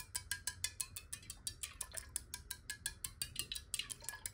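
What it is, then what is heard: Glass water bottle tapped with nails. A clear square glass water bottle with water in it is held and tapped quickly with long nails. The result is a rapid, somewhat uneven run of light, bright clicks with a thin glassy tick and almost no ring, over a faint low rumble.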